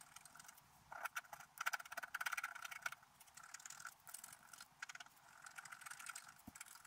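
A wooden scratch stylus, held in the fingers, scrapes away the black wax coating of a letter-sized scratch-art card with a metallic and colored paper base, lying flat on a table while the other hand holds it still. Quiet, dry scratching comes in short, irregular bursts of strokes, with a bright hiss and a faint squeaky tone near 1.5 kHz, and no low end.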